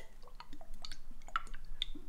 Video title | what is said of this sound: Mr G Shave No167 Magnificent 11 No11 - Cannot Be Ignored - Muhle Rocca & Proraso Red | you know it's not going to come out slowly